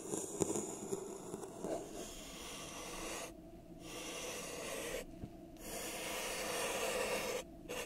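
A thin makeup brush is rubbed and scraped along the outside of a pink ribbed, hollow and empty disposable plastic cup held over the microphone. It makes a steady, bright, hissing scratch with a faint hollow tone underneath, and the high rasp briefly cuts out a few times between strokes.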